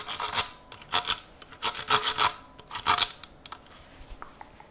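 A Zastava M70 rifle, steel with black polymer furniture, is held upright in one gloved hand while cotton-gloved fingertips tap and scratch along its handguard and receiver. Irregular bursts of dry, hissy rasping come through, mostly high-pitched, with a few short, faint ticks between them.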